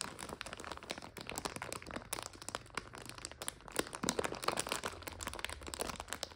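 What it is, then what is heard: Plastic noodle bag. Long nails scratch and press a full plastic egg noodle bag resting on a couch. The result is a dense, continuous run of sharp, bright crinkles and crackles, with quick snaps standing out over the steady rustle.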